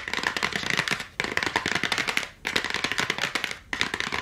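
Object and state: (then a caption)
Cardboard battery pack backing tapped with nails. Long acrylic nails tap fast on the flat printed cardboard back of a 16-pack AA battery blister package held in both hands. The dense, crisp, bright clicking comes in four rapid bursts separated by brief pauses, with almost no low end.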